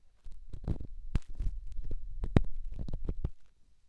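A small, solid, rough rock held in the fingertips is rubbed against a silicone microphone ear, making a low, muffled scraping and rumbling with soft crackly bursts. The sound is almost all deep bass and runs steadily for about three and a half seconds before fading out.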